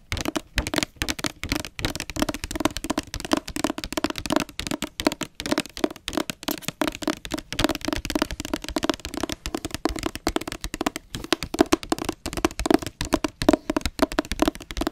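Long nails tap and scratch rapidly and continuously on the solid back cover of a blue hardcover book with a glossy dust jacket. The crisp, dry clicks die away almost instantly, with a faint hollow low-mid tone under them and light scratchy rustle between the taps.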